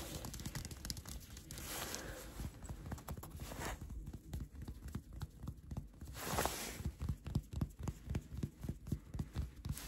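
Fingertips and short nails tap and scratch across the raised, colorful printed letters and stars on a dark cotton t-shirt worn on the chest. Quick, uneven taps give soft, muffled low thuds, broken up by brief swells of dry, brushing scratches on the soft, flexible fabric.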